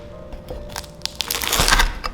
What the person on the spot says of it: 清脆的声音，它的外皮是很酥很脆的